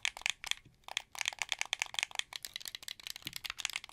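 A translucent blue, hollow plastic wired Xbox 360 controller is held sideways while fingertips click its triggers and bumpers. The result is a rapid run of sharp, dry plastic clicks that are bright and high-pitched, with almost no low end and no ring after each click.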